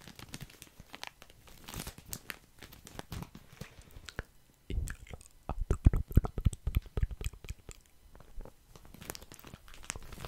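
Fingers squeeze and scratch a full, soft plastic package of cotton pads held close to the mic. The result is dense, irregular crinkling and crunching, made of many quick, short rustles with a heavy low-end thump. The crinkles grow louder and denser in the middle stretch, then ease off again.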